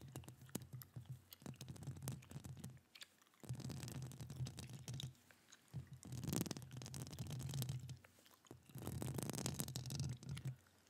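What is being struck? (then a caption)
Metal mesh microphone grille. Long acrylic nails scratch and tap the hollow metal mesh grille of a standing microphone held with one gloved hand. Dense, rapid scratching with bright clicky taps rides over a heavy low-end rumble, coming in four bursts separated by short quiet gaps.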